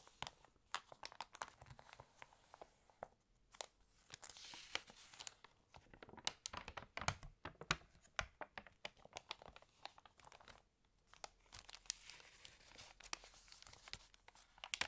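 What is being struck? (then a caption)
Glossy paper catalog. Fingernails tap across the glossy paper pages of a fashion catalog, then a page is flipped and rubbed. The result is a quiet, dry stream of sharp, bright clicks and crisp crinkling with brief pauses between bursts.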